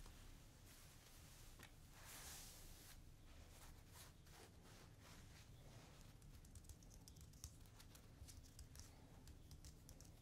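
Long red-painted nails scratch and rub across the chest of a worn black cotton T-shirt with a white "I love cowboys" print. The sound is a quiet, steady stream of soft, bright scratching and brushing strokes over a low rumble, with a few sharper scrapes near the end.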